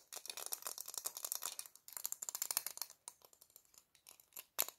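Black plastic-framed sunglasses held in both hands are tapped and scratched with long nails, with some rattling of the hinges. Rapid, bright, dry clicks and scratchy ticks come in dense bursts with short pauses between them. The clip ends on a sharper, louder click.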